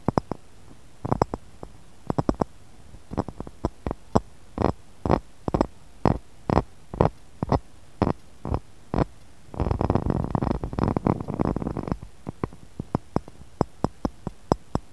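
Fingernails tap and scratch the rim of an empty, hollow, clear textured pressed-glass cup resting in a glass saucer. Dozens of short, dull clicks come in loose clusters, broken by a few seconds of dense, raspy scratching before the tapping resumes.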